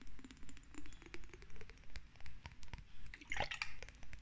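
Long red nails tap and scratch a small, hollow, lidless cylindrical glass jar with a bluish tint, held in both hands. Quiet, steady clicks repeat at a regular pace, each ringing only briefly around a pitch near 830 Hz. A brighter, scratchier burst rises partway through.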